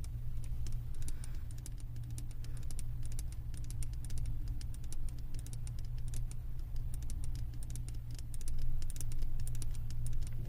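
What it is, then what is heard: Glass candle jar full of wax. Long nails tap rapidly on the glass bottom of a candle jar full of wax, making a dense run of quick, bright clicks like typing. A steady low hum runs underneath throughout.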